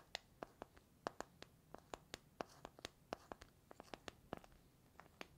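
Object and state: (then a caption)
Small metal tea tin tapped with fingertips and nails. Fingertips and nails tap and scratch the lid and sides of a small, hollow cylindrical metal tea tin with a gold lid and a paper label. About 23 quiet, sharp clicks and taps ring briefly around 690 Hz with bright edges, separated by faint scratchy rustling.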